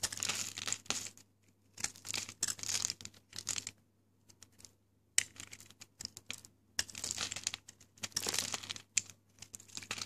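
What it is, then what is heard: Dry hard bar soap. A yellow box cutter's metal blade scrapes and carves into a solid, dry pink Lux bar soap held in the fingers, shaving off crumbly flakes. Bursts of dry, bright scraping and crackling come in uneven clusters separated by short silences, with a faint low hum underneath. Flakes of soap crumble away from the bar.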